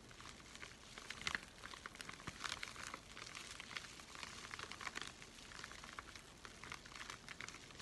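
A flat, empty white USPS paper flat rate mailing envelope is handled and bent with both hands while fingertips crinkle and scratch its surface. The result is a quiet, continuous stream of bright, papery crinkles and scratchy patter, with little low end and a few slightly louder crackles along the way.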